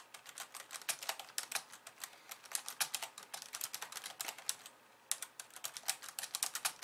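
Long polished nails and fingertips of both hands type rapidly on the plastic keys of a compact pink and white plastic computer keyboard resting on a wooden desk. Quick, bright, dry clicks and taps come in a dense, uneven stream with almost no low end, breaking off for a brief pause just before the fifth second before the typing resumes.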